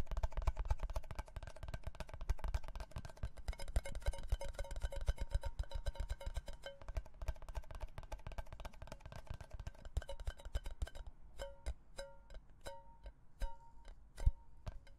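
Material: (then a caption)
Cardboard. A red Pringles can, a hollow cylindrical cardboard composite tube with a lid, is held horizontally in both hands between two microphones and tapped with the fingertips. Quick, dense drumming gives way to sparser single taps near the end. Each tap is a short, hollow, low thump with a faint ringing tone that dies away almost at once.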